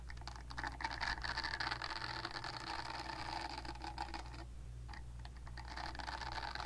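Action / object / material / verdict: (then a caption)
scrape / silicone facial cleansing pad / silicone / none. Long nails scratch and flick the silicone nubs of a purple silicone facial cleansing brush pad, held nub side out. The result is a quiet, continuous crackly scratching with rapid irregular ticks over a steady low hum, briefly thinning out around the middle before resuming.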